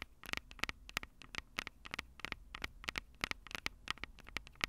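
Long purple acrylic nails tap directly on the two small hollow metal microphone capsules of a Tascam DR-05 recorder. The result is a quick, irregular series of sharp, bright clicks with a tinny metallic ping around 2 kHz. Each tap dies away almost instantly over a faint low hum.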